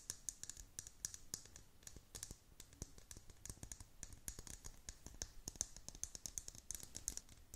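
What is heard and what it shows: Long pointed nails tap and scratch the curved dome of a clear plastic tumbler, a hollow transparent lid holding loose pastel beads and a unicorn figure. Many quick, dry clicks and scratches sound in an irregular stream, each short with bright high ticks and almost no ring.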